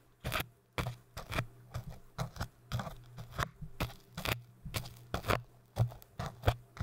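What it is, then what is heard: Hard foam cylinder being scratched. Two thin dark crochet tools scratch and poke the surface of a tall orange hard foam cylinder, making a run of short, dry, crackly scrapes with quick, bright edges. The bursts come in close succession over a faint steady low hum.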